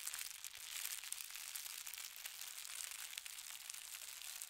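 Fingertips run along and smooth the fold of a folded white tissue paper sheet with a gold star print, resting on a patterned blanket. A quiet, steady, bright crinkling and rustling carries on throughout, with tiny crisp ticks and no low end.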